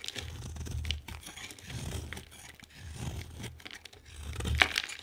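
A utility knife blade shaves strips from a hand-sized, solid orange oval bar of soap with a green rim. Soft, crinkly scraping and tearing sounds come in several slow swells, pairing a low rumble with bright, gritty crackle. The loudest, sharpest cut lands near the end.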